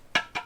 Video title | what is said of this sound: Thrift Smarter, Not Harder – What Actually Sells on eBay - Video Compilation - Thrift with Me | when I'm tapping the lid, it's clanking against the jar part, where it meets the other ceramic